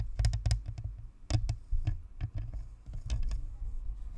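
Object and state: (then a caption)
Plastic ball microphone. Long acrylic nails tap and scratch the shell of a hollow, white plastic spherical Blue Snowball USB microphone with a metal grille and chrome badge, sitting on a stand. The result is an irregular patter of close, boomy low thuds with short bright clicks and scrapes that die away almost at once.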